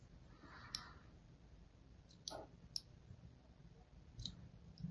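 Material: Soap.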